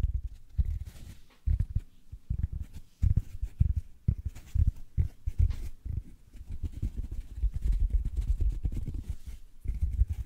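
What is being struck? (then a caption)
Synthetic foam sponge. A large, rectangular, yellow porous foam sponge, soft and solid, is held in both hands in front of the mic and squeezed and scratched with fingertips and nails. It gives dense, low, muffled scrunching and crackling in quick bursts with short pauses, each sound dying away almost at once.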